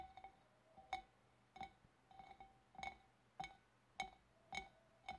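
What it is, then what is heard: Glass fish bowl. Long dark-painted nails tap around the wavy rim and shoulder of a large, clear, empty, hollow glass fish bowl held at the front. There are ten quick, light clinks at an uneven pace, each a short glassy ping with a ringing tone near 780 Hz and bright overtones. The rings fade fast between taps.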